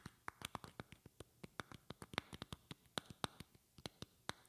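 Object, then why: Glass perfume bottle. A medium rectangular glass perfume bottle with a flower decoration and a silver cap is held close to the mic and tapped with long painted fingernails. About 27 short, crisp clicks come in an uneven rhythm, some soft and some harder. Each has a bright glassy tick that dies away almost at once over a faint background hiss.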